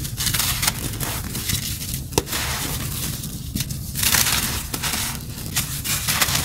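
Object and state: Dry cement chunk crumbling.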